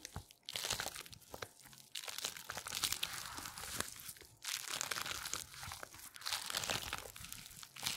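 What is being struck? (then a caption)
Thin latex exercise band. A wide, thin purple latex resistance band is squeezed, twisted and crumpled by black-gloved hands. Dense, bright crinkling and crunching sounds come in bursts with brief quieter gaps, mostly high-pitched with very little low end.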